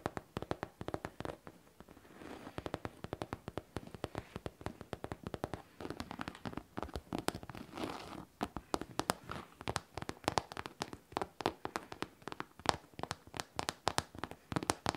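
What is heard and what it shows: A pink faux leather backpack with metal studs and a zipper, hollow and held up, is tapped and scratched with long painted nails. Rapid, dry, clicky taps come in quick runs, with softer scratching in between and possible zipper or stud clinks mixed in. The taps die away almost at once, leaving a light, crisp patter that centers around 800 Hz.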